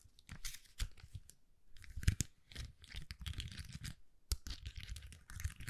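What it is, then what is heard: Plastic rhinestone sticker sheet. A hand-sized flexible plastic sticker sheet covered in rows of small purple and white acrylic rhinestones is held in both hands and scratched across the gems with long manicured nails, with some bending of the sheet. Quick, bright scratching and crinkling strokes come in bursts over a soft low rumble, with brief pauses between passes.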